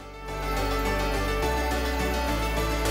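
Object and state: Nothing is struck.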